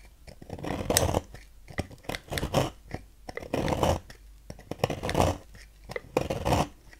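A knife blade repeatedly carves crumbly shavings from a solid pink striped bar of soap resting on a table. Each stroke makes a dry, crunchy scraping burst, with bright crackles over a fuller low-mid body. Short quiet pauses fall between the irregular cuts.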